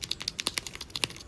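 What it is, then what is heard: Fuel filter with loose internal element. An old fuel filter is shaken, giving quick, bright, dry rattling clicks with almost no low end. The rattle comes from the internal element, which has come loose, so the filter no longer filters and was replaced with a new one.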